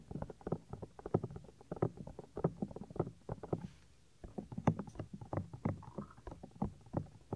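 Fingertips and nails rub across the flap and folds of a white silicone 3Dio ear on a binaural microphone. The result is a close, muffled stream of soft scratching and thumping rubs, heavy in the low end with almost no bright content. There is a brief quiet pause about midway before the rubbing resumes.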